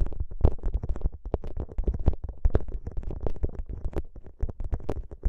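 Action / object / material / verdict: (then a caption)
scrape / plastic pouch filled with gel beads / plastic, gel / none. Fingertips press, squeeze and rub a soft, flexible, clear plastic ice pack filled with green gel beads that is draped over the microphone. The result is a dense, rapid stream of squishy, bubbly pops and crackles, heavy in low thumps, with short brighter crinkles of plastic cutting through.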